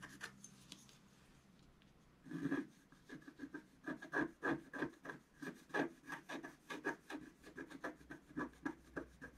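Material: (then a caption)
Coated paper. A wooden stylus scratches strokes into the coating of a flat, thin, black-coated scratch art sheet. After a couple of seconds of faint, light scratching, a run of short, dry rasping strokes follows at an uneven pace of about three per second, each with a scratchy midrange tone and a bright edge.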